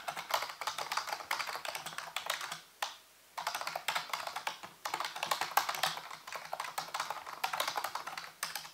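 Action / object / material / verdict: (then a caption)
tap / plastic computer keyboard / plastic / none. Fingertips and nails type and tap on the keys of a full-size black plastic computer keyboard with a hollow housing. The rapid, crisp key clicks run in dense bursts with bright, papery highs, broken by a brief pause near the three-second mark. A faint low hum sits underneath.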